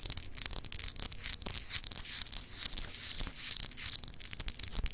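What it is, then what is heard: Etched glass globe paperweight. Long acrylic nails scratch over a small, solid, clear glass globe paperweight with etched continents. The result is a dense, bright, continuous scraping with quick clicky ticks, and it dies away at once with no ring.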